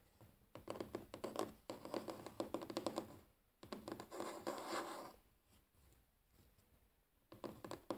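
Fingernails drum quickly on a large solid wooden tabletop in a fast, typing-like pattern, with one hand briefly close to the camera. Dense bursts of short, dry, clicky taps run from about half a second to three and a half seconds, then resume around four seconds. The tapping fades to faint scattered ticks before a final quick flurry at the end.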